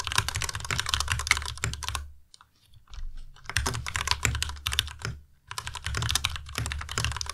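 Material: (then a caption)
Plastic. Fingertips type on a white Ducky Miya Pro tenkeyless mechanical keyboard with plastic keycaps and linear switches. Rapid, bright clacks come with a low thud beneath each keystroke, in three bursts separated by short pauses, the longest just after the two-second mark.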